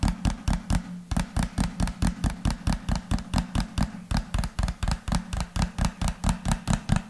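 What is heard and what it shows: A hand-sized, hollow white-and-pink plastic lotion bottle with a rounded pink cap is held sideways and tapped with the fingertips. About 30 quick, dull, hollow thuds follow one another in a fast, slightly uneven rhythm, each short and dry with a low body.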